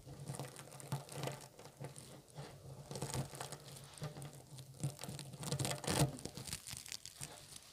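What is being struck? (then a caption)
Cluster of soft plastic burr balls. Fingertips press, squeeze and rub a hand-sized clump of small green soft-plastic spiky Bunchems burr balls stuck together on a wooden table. The result is a steady run of soft, crinkly plastic bristle crackles and brief bright rustles over a low hum, with louder bursts of crunching near the middle and end.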